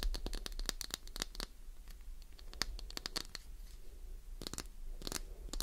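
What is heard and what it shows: Long nails scratch fast along the edges and face of a solid, palm-sized, translucent green glycerin soap bar. They make many quick, bright scratching clicks in dense bursts, with a brief pause in the middle, over a low, steady background hum.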